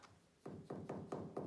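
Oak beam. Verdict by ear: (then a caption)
Solid. An old oak beam in a bathroom is tapped six times, giving short, dull knocks with a low tonal ring near 380 Hz and almost no high-frequency content. The spot sounds solid, unlike the next spot tapped.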